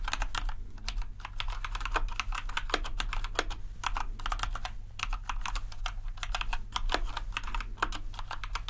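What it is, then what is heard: Mechanical keyboard being typed on. Keys on a compact white plastic RGB mechanical keyboard are pressed one at a time with an index finger, then typed on at full speed. Each key gives a short, sharp, bright click that dies away almost at once, over a steady low hum. The presses run together into a dense, even clatter of typing.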